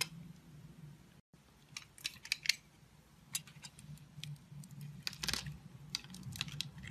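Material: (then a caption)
Soap. A metal blade scrapes small cubes off a solid, oval, multicolor pastel bar of soap that has a grid scored into it and is held in the palm. Short, bright, crisp scraping crackles and clicks come in scattered bursts over a faint low hum, with a brief gap of silence near the start.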